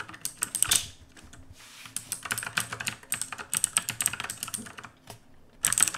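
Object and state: Plastic mechanical keyboard.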